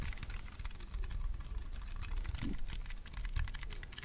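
A small purple hollow plastic mini handheld fan is held in both hands and tapped rapidly with fingernails. It makes a steady, dense stream of quick, dry clicks with a soft, low hollow thump under them. Each tap dies away almost at once.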